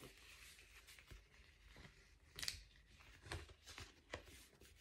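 Fingertips scratch and rub the bubbled foil of an empty blue metallic foil bubble mailer held upright. The result is soft, bright crinkling and scratching, with a few sharper rustles standing out above a low, quiet texture.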